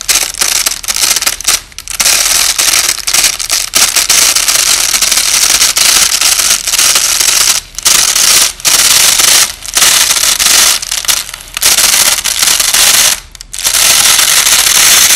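A white nylon hook-and-loop (Velcro) strip lying flat is slowly peeled apart by fingertips, with the audio slowed down. The result is long bursts of bright, crackling ripping noise, mostly high-pitched. The bursts are broken by brief quiet gaps.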